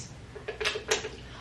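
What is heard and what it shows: Three knocks on a cheap shelf give short, hollow, thin taps with a ringing tone around 430 Hz and little low end. The shelf sounds hollow and cheap, not like solid wood or metal.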